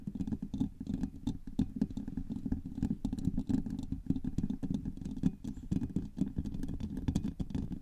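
Both hands tap and scratch with long manicured nails on the hollow, rounded woven steel mesh grille of a large silver USB microphone. A dense, continuous patter of quick, dry taps and scrapes fills the clip, with a muffled low-mid thump around 180 Hz and faint bright crackle above. Each tap dies away almost instantly.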